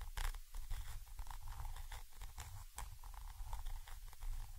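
A thin orange stick scratches and taps from above between the two capsules of a Zoom H5 XY microphone, a small chrome metal body with mesh grilles. Heard right at the mic, it makes a dense, boomy low-end rumble of scraping and knocking, broken by short, bright, crackly clicks.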